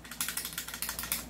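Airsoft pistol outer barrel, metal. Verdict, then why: Loose. The loose, unfixed metal outer barrel of a John Wick Sand Viper airsoft pistol rattles as it is shaken with a finger resting on it. About ten quick, bright clicking rattles are heard, each dying away fast. The barrel wobbles strongly because it is not fixed in place.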